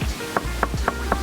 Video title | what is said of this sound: How To Make A Plaster Slab For - Wedging/Damp Box/Reclaim | you can hear it's pretty solid. I mean, it sounds solid to me